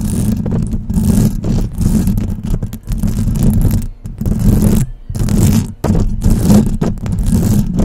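Long press-on nails scratch and tap across the silver metal mesh grille on top of a desktop microphone. The result is a dense, rumbling, mostly low scratching texture with quick rattly taps, broken by a few brief pauses.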